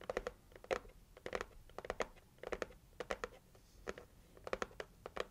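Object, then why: Cardboard gift box. Long acrylic nails scratch and tap the lid of a pink printed cardboard heart gift box. Quick, dry clicks come in uneven clusters, with short papery scratches between them. Each tap stops almost at once, leaving a light hollow tone around 500 Hz.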